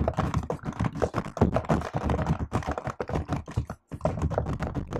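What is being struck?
Laptop keyboard with plastic keycaps.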